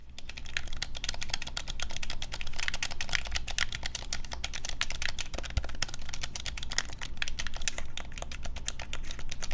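A black plastic Nintendo Switch Pro controller, hand-sized and hollow, is held in both hands over a wooden desk while fingertips and thumbs rapidly tap and press its buttons. The result is a dense, continuous stream of quick, dry plastic clicks with bright ticks over a steady low hum.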